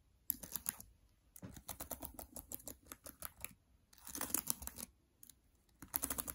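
Long dark nails tap the plastic keys on the right side of a MacBook Air keyboard. Quick, dry, bright clicks come in bursts separated by short pauses.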